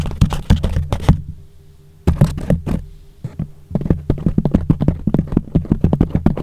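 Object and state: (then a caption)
Foam microphone cover tapped and rubbed. Fingertips tap quickly on and rub the sides of a thick, soft yellow foam sheet wrapped hollowly over a microphone. The result is rapid, muffled, low thumps and soft brushing with almost no ring, arriving in dense bursts separated by a brief quiet pause.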